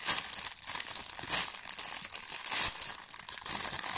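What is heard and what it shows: A thin, clear, empty plastic bag with a small label is crinkled and squeezed by hand. It makes a continuous bright, crackly crinkling with almost no low end, swelling into louder bursts near the start, around 1.3 seconds and around 2.6 seconds.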